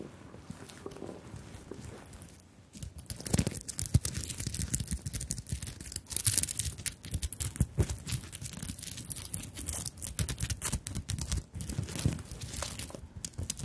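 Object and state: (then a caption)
Sequined beaded fabric handbag. Long nails scratch and tap across a small fabric handbag covered in plastic sequins and flower-shaped beads, held close over the microphones. After a quiet, faint opening, a dense stream of crisp, crackly scratches and sharp clicks runs continuously, with bright rattling sequin edges over a soft low rumble.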